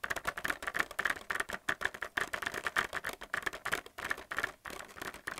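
A plastic paint palette in a blister pack, with plastic wells on a cardboard backing, is tapped and scratched quickly with fingernails. The result is a dense run of sharp, dry plastic clicks and crinkly scratches centered around 1.8 kHz, with almost no low end and no ring.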